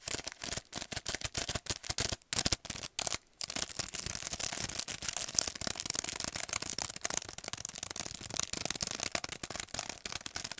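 Fingernails tap and scratch the plastic blister and cardboard card of a long paint brush set's blister pack. The result is a rapid run of crisp, bright clicks and scratchy rustling: separate taps for the first few seconds, then near-continuous fast scratching.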